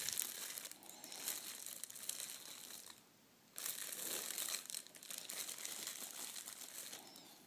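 A wrinkled sheet of red metallic foil gift wrap, spread flat on a table, is rubbed and pressed with flat hands and fingertips. It makes dense, bright crinkling and crackling that fades to near silence for about half a second midway, then resumes and slowly softens toward the end.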